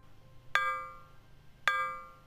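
An aluminum test board is struck twice with an impulse hammer to check that the accelerometer signal is detected. Each hit gives a bright, ringing metallic clang with clear high overtones that decays over about a second.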